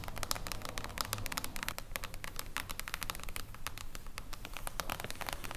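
Long acrylic nails tap rapidly and irregularly on a solid, silver reflective-foil hardcover book lying flat on a table. The taps are short, bright clicks that die away almost at once, over a steady low rumble throughout.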